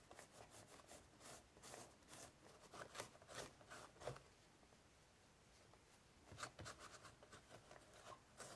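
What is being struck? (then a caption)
Woven straw basket lid. Fingers rub a tissue over the raised straw pattern on the closed lid of an ornate, hollow, octagonal woven straw basket with a braided rope border. Soft, dry, scratchy rustling comes in uneven bright bursts. It fades to near-silence in the middle before the rubbing resumes.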